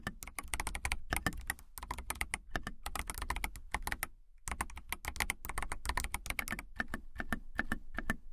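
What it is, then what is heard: Plastic mechanical keyboard being typed on. Fingernails type and tap on a clear acrylic mechanical keyboard with clear plastic keycaps, producing a rapid, dense stream of short, sharp clicks. The clicks have a thumpy low body and a bright top. The typing continues steadily except for a brief pause just after the midpoint.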